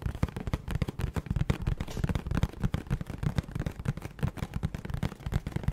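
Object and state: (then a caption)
Cardboard snack box. A hollow, printed Little Debbie Birthday Mini Muffins cardboard box is held near the mic and tapped and scratched with long nails. The result is a rapid, uneven stream of dull, boomy thumps with soft scratchy texture. Each tap dies away almost instantly, and the sound is heavy in the low end with very little brightness.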